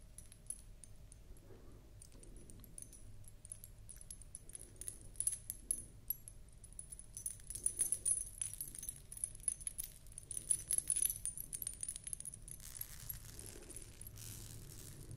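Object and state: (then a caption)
Beaded collar necklace with metal dangles jingling. A large beaded collar necklace with metal dangles is held up high in one hand while the fingertips and long nails of the other hand sweep through its row of hanging metal discs, making them clink together. The quiet, bright tinkling jingle comes in repeated swells over a steady low rumble, growing busiest through the middle before settling into a softer shimmer at the end.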